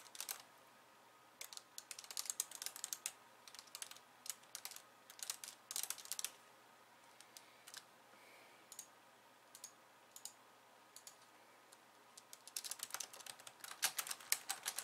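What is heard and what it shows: Long painted nails and the fingertips of both hands type on a pink low-profile plastic keyboard with white keys resting on a wooden desk. Bursts of quick, bright, clicky keystrokes alternate with brief quiet pauses. Each tap is short and dry, with no low thump.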